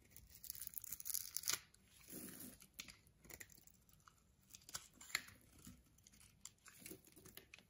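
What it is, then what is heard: Bar of soap being shaved. A metal blade scrapes and shaves the surface of a solid, palm-sized white soap bar held in the hand, raising fluffy white soap curls. Quiet, bright, crisp scraping and crumbly tearing sounds come in short, irregular strokes, with a louder run of shaving near the start.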